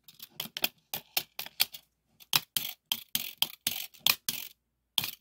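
The thin yellow painted steel blade of a small red plastic 2 m tape measure, pulled out on a wooden table, is tapped and pressed along its length with fingertips and nails. About 19 short, bright, tinny clicks and ticks sound in quick bursts, with almost no low end and a brief pause in the middle. Each tap dies away almost instantly.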